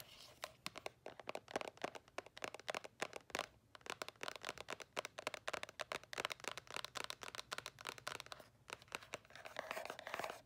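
Long acrylic nails rapidly tap and scratch the edges and faces of a small, hollow white cardboard earbud box. The result is a dense stream of short, dry clicks with papery scraping in between. The sound sits in the mid and bright range, with almost no low end.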